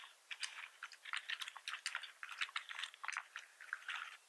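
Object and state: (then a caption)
Plastic computer keyboard. Both hands' fingertips type rapidly on a full-size black plastic membrane computer keyboard with red keys and a hollow plastic housing, resting on a wooden desk. Quick, dry, bright clicks and taps tumble out in an uneven stream. Each stops almost at once with no low thump beneath.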